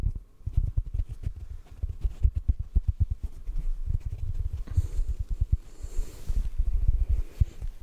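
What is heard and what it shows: A fingertip taps a hand-sized yellow sponge held in front of the microphone. It makes a quick, uneven series of soft, muffled low thumps with almost no ring and no high-frequency content.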